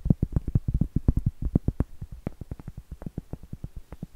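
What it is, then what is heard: Cork trivet tapped with fingernails. Medium acrylic nails tap and scratch a round, flat, solid cork trivet held upright. About 27 short, dull, muffled taps come in a quick, uneven rhythm, with low, soft bodies that stop almost instantly and leave no ring.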